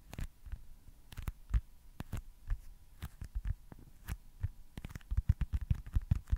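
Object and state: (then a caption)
Foam stress ball. Fingertips tap on a small, solid, white foam baseball stress ball in a quick, uneven run of soft, dull taps. Each tap is a short, deep thump that stops almost at once, with almost no bright edge. A faint steady hum sits underneath.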